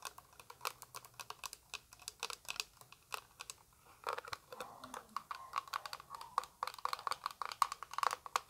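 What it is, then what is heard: Plastic eyeshadow palette. A small, flat, translucent orange plastic eyeshadow palette case, hollow, is held in the hand and tapped with long white acrylic nails. It produces a quick, irregular stream of light, crisp clicking taps with a hollow plastic tone near 1 kHz and a bright edge. Each tap dies away almost instantly at a quiet level.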